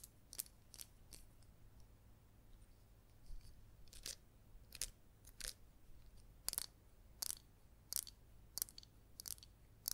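Long green nails tap a hollow, palm-sized, green glazed ceramic cactus-shaped pot holding an artificial yellow succulent. The result is a quiet, irregular series of sharp, bright clicks that stop almost instantly, over a faint low steady hum.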